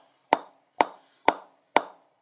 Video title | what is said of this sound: GM Diamond 808 Cricket Bat Review | you can hear it going in that low position. It's actually got a very nice sound to it. It's deep.